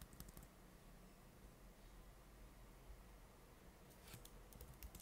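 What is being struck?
Plastic laptop keyboard keys.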